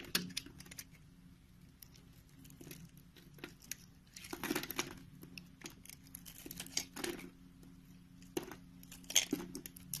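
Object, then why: Soap bar scraped by a knife blade. A utility knife blade scrapes and shaves strips off a solid, hand-sized, rounded lilac soap bar held in the palm. Short, crisp, bright scraping bursts come and go over a faint, steady low hum, with the loudest shaves near the middle and end.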